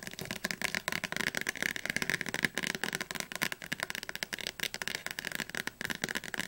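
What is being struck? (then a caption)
Thick softcover book spine. Long fingernails of both hands tap fast on the spine of a thick, closed Oxford Advanced Learner's Dictionary, a softcover book with a glossy blue cover held upright. The result is a dense, rapid run of short, dry clicks that die away almost instantly. The clicks sound bright and crisp, with little low end and a slight rattling texture.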